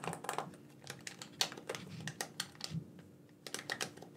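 A black, wired, hollow plastic gamepad, hand-sized and held in both hands, has its buttons tapped and clicked by fingertips. About eighteen quick, bright plastic clicks and taps come in an uneven, typing-like rhythm, each dying away almost at once over a faint steady low hum.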